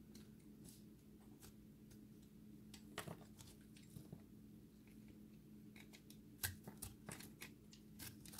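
A solid, dry recycled soap ball is shaved with a utility-knife blade so that chunks crumble off. Short, bright scraping crunches and crumbly crackles come in an irregular series, with a few sharper louder scrapes, over a quiet, steady low hum.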